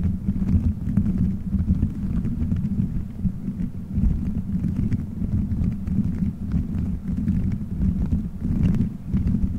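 Fingertips squeeze, rub and scratch colorful gelatin gummy bears stuck all over a microphone head in a solid dome shape. The result is a steady, muffled, low rumbling of soft squishing and thumping, with faint scratchy crackles above.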